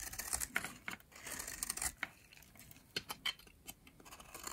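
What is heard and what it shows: A metal utility blade scrapes crumbly shavings off a yellow, oval, solid, dry soap bar held in the hand. Quiet, bright, crisp scraping strokes mix with sharp little crackles and clicks, with almost no low end and each cut dying away almost instantly.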